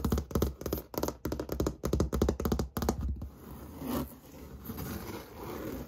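Fingernails tap rapidly on an interior wall with textured white paint, probably drywall, in quick clustered bursts with a dull low thud. After about three seconds the taps stop and the whole hand scratches across the textured surface, making a softer, steady rasping.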